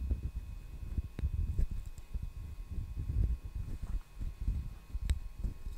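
A solid, hand-sized brown wooden hairbrush back is held near the mic and tapped with fingertips and nails. Soft, dull, low knocks patter almost continuously and die away quickly, with a few sharper nail clicks that add a brief bright tick.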